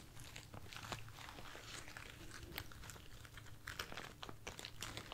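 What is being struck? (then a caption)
Artificial foam rose bouquet. A bunch of light, soft white artificial foam roses held in one hand is scratched and tapped with long nails. The result is a steady stream of dry, crisp crackles and sharp taps with bright, brittle edges over a faint low hum.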